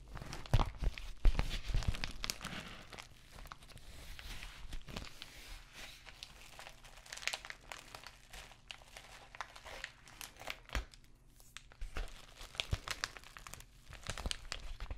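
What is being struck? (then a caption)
Plastic padded bubble mailer envelope. An empty white padded plastic bubble mailer envelope is scratched with nails and handled. Its plastic crinkles and scrapes in soft, irregular bursts with brief, dry clicks and no ringing, over a low background hum.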